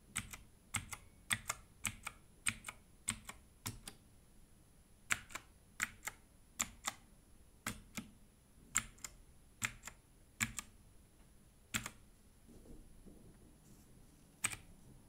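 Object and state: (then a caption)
Plastic mechanical keyboard. Gloved fingertips type on a compact Redragon mechanical keyboard with plastic keycaps and an orange case, first with one hand and then with both. About 32 short, bright plastic clacks land in uneven bursts, each dying away almost instantly. A faint low rustle sits between some strokes.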